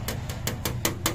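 Six quick, bright taps with a tool on the hard seal ring, about 72–73 mm across, of the oil cooler on a Suzuki DA64 automatic turbo minivan's K6A engine, checked while chasing an oil leak. Each tap gives a short, sharp click with a faint ring over a steady low hum. The ring sounds out instead of thudding dead, so it is judged to be more or less hard plastic rather than rubber.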